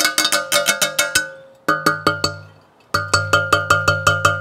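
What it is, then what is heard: Stainless steel frying pan. A Baccarat iconiX 18/10 stainless steel chef pan with a very heavy base is tapped 19 times in quick bursts separated by short pauses. Each tap gives a bright metallic ring pitched around 1.2 kHz with layered overtones that fades within a fraction of a second.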